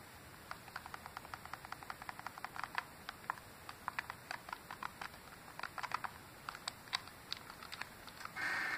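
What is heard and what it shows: Fingertips and dark-painted nails tap and click rapidly on the shell and buttons of an open, small, hollow silver plastic Game Boy Advance SP held in the hand. Quick, dry, light clicks with almost no ring sit over a steady soft hiss, ending in a short burst of broader noise.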